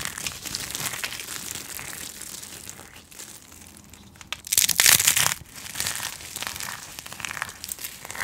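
Hands with long painted nails grab, squeeze and crumble handfuls of dry, crunchy recycled soap flakes in white, yellow and blue, rubbing and crushing them over a spread pile. The result is a steady, bright, dry crinkling and crackling, with a louder burst of crunching near the middle before it settles back to softer rustling.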